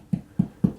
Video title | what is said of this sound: Taking over a homeowners drywall job! | i can hear that there's no air underneath so that's good it doesn't sound hollow